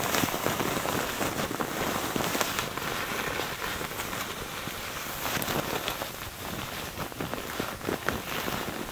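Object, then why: Thin tissue paper. A crumpled sheet of thin white tissue paper, soft and loosely bunched, is held in both hands over a wooden table and squeezed and crinkled by the fingertips. The result is a dense, continuous crackle of many small, irregular snaps with a bright, hissy top, much like rain on a surface, holding a fairly steady level throughout.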